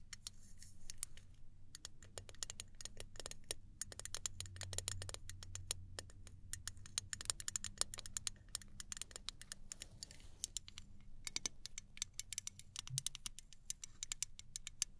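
Long nails tap fast on the metal body of a small gold aluminum travel spray bottle held upright. The result is a rapid, uneven run of sharp, bright clicks that die away almost instantly, over a faint low hum.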